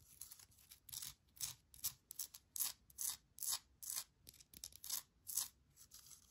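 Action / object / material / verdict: scrape / small granite rock plant holder / granite / none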